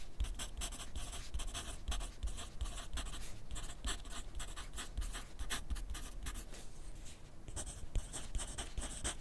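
A wooden graphite pencil is drawn across a thin sheet of grid paper clipped to a flat clipboard on a desk while writing. Quick, dry scratching strokes come in a steady stream of short, bright bursts over a low background rumble, with a brief lull near the end before the writing resumes.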